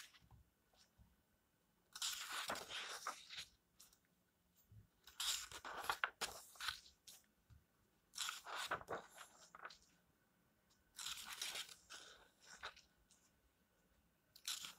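Fingertips brush across the paper pages of an open paperback book lying flat and flip a page, making soft, bright rustling and crunching. The sound comes in several separate bursts with near-silent pauses between them, at a quiet level.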